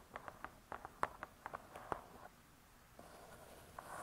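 Long nails scratch and tick against the cardboard cover of a spiral-bound hardcover cookbook lying flat. Quiet, crisp, irregular clicks come first, then give way to a soft, steady scratching rustle with a faint bright hiss.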